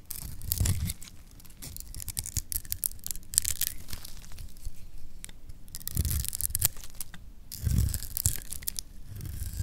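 A metal blade scrapes and cuts flakes off a solid green bar of dry lacquered soap held in the hand. Dry, crisp scraping and shaving rasps come in bursts with bright, hissy edges over soft low thuds, then fade briefly between strokes.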